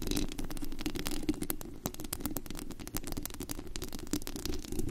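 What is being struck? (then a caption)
Metal mesh microphone grille. Long acrylic nails on both hands scratch and tap the white-painted metal mesh grille of a large USB condenser microphone with a hollow dome and glittery body. The result is a dense, continuous rattle of rapid scraping clicks over a boomy low hum centered around 300 Hz, with brief bright ticks on top.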